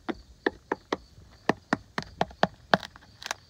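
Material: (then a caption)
Wood. A tool with a blue handle taps and knocks along the large, solid, grey-painted horizontal logs of a log home's exterior wall, one of which has a damaged, chewed-out spot showing bare wood, sounding them out for insect damage. About twelve short, dry knocks are heard, each dying away almost instantly with a mid-pitched, hollow-ish wooden tone and no ring.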